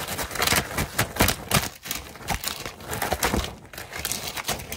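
A large, soft purple fabric piece held in both hands is quickly rubbed, crumpled and flapped with the fingers. The result is a rapid, uneven run of bright, broadband rustling and swishing bursts with soft low thumps.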